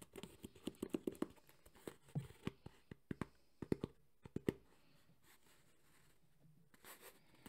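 Fingertips tap fast and scratch on the top of a hollow black textured JBL hard EVA speaker carrying case. A rapid run of dry, hollow knocks with a mid-low body and almost no ring is mixed with soft scratching. The taps stop after about four and a half seconds, leaving quiet with a faint rustle near the end.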